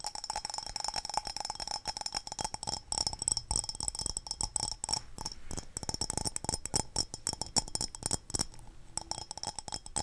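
Long dark-painted nails tap fast and continuously on a small, handheld, glazed yellow ceramic cup with ridges and black dots, hollow and apparently empty. The result is a dense stream of bright, clinking ticks with a high ring that dies away almost instantly, over a faint steady tone.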